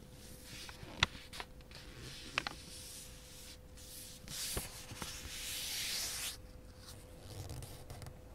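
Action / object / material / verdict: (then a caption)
scrape / thin origami paper sheet / paper / none. Fingertips and nails press and rub along the fold of a thin square sheet of pink origami paper, folded into a triangle and lying flat on a black surface, to crease it. Soft, bright papery rubbing and scraping is broken by a few sharp crisp ticks, with a longer, louder hissing rub near the middle. A faint steady hum sits underneath throughout.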